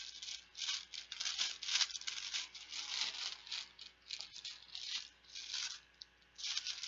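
A hand-sized yellow banana-shaped cloth zip pouch full of small plastic Bananagrams game tiles is squeezed and shaken with dark-painted fingernails and fingertips. The tiles rattle inside in bright, crisp bursts with short pauses, almost entirely high-pitched and hissy with no low end.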